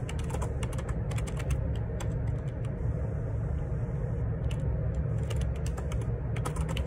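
Fingertips type steadily on a black plastic Perixx Periboard 612 wireless Bluetooth split ergonomic keyboard, with plastic keycaps and a hollow case, resting on a desk. A continuous stream of quick, bright key clicks and taps rides over a heavy low rumble that holds steady throughout.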